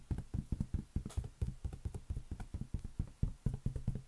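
A large, hollow, inflated green latex balloon held on an open palm is tapped quickly with the fingertips and nails. About 23 rapid, dull, hollow thumps follow in a steady patter, low and boomy with a pitch near 133 Hz and almost no high end. Each tap dies away almost instantly.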